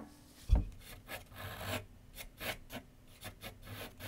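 A graphite pencil scratches and shades across a large white paper sheet mounted on a board with solid backing on a wooden easel. A dull low thump is followed by a run of dry, raspy strokes that rise and fade with brighter, hissy edges.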